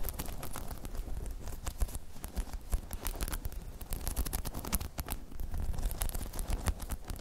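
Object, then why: Spiky rubber balance pod. Long chrome nails scratch across a hollow, dome-shaped spiky rubber balance pod, producing a dense, continuous patter of quick scratches and light taps. The sound is soft and dry with a heavy low-end rumble, and each tiny contact dies away almost instantly.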